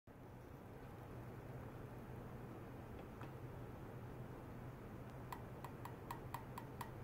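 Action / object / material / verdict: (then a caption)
tap / stainless steel wire / stainless steel / none. A stainless steel wire is tapped in a test of how ultrasonic vibration travels through it. Seven short, bright ticks ring near 1 kHz over the final two seconds, above a steady low hum.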